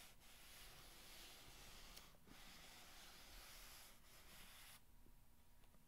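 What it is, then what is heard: Corrugated cardboard box being scratched. Long red-painted nails scratch and rub along the sides of a long, narrow, empty, hollow corrugated cardboard box lying on a blanket. The result is a steady, bright, papery scraping with brief pauses, under a soft low rumble, fading quieter near the end.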